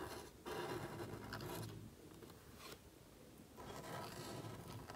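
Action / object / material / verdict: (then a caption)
scrape / thin paper cardstock sheet / paper card / none. A calligraphy marker nib scrapes across a thin, flat black cardstock card held flat by fingertips while writing. It makes soft, dry rasping strokes, louder bursts of scratching separated by a quieter stretch, with a papery hiss reaching into the high range.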